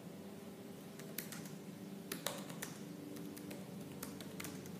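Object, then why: Laptop keyboard with plastic keys. Fast typing on a silver laptop's black plastic keys with fingertips and purple-painted nails produces quick, bright clicking taps. The taps come in irregular bursts over a steady low hum.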